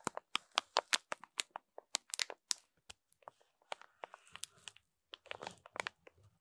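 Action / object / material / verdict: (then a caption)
scrape / sponge pack in plastic film / plastic film / none. A rainbow foam sponge pack wrapped in clear plastic film is scraped with a wooden stick, then scratched with a fingernail. The result is a quick run of sharp, bright crinkles and crackles of the plastic, followed by denser, softer scratching.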